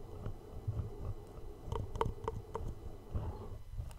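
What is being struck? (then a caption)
Small cardboard gift box. A small, hollow black cardboard gift box is held in both hands close to the mic while thumbs and short-nailed fingertips tap slowly on its flat faces. The taps are soft and quick, each a hollow knock with a faint resonance around 450 Hz. They sit over a low, rumbling handling noise.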